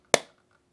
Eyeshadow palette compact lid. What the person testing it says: hear it how it's lower also it's magnetized